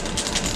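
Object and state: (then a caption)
Topwater fishing lure with internal rattle. A plastic topwater walker fishing lure is shaken, and the rattle inside it gives a loud, bright clattering over a steady low background. The rattle sounds as it should.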